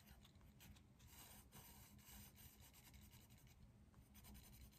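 A hand shades a leaf drawing with a dark green colored pencil in quick strokes on a flat white textured paper sheet on a drawing pad resting on a desk. It makes a steady, quiet rasping scratch of pencil on paper, with bright hissy streaks over a constant low rumble.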